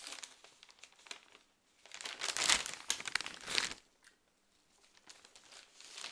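A thick, folded newsprint newspaper is held in both hands while its pages are rustled and turned, making bright, crinkling paper sounds. Soft, scattered rustles build into a louder burst of crumpling and page-turning in the middle, then drop to quiet, light crinkles at the end.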